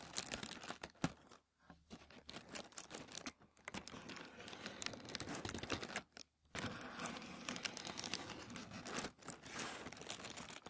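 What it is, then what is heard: Thin tissue paper. Fingertips rub and scratch a sheet of thin white tissue paper lying flat on a wooden table. The result is a dense stream of bright, crinkly rustles and sharp scratchy ticks, broken by a few brief silent pauses.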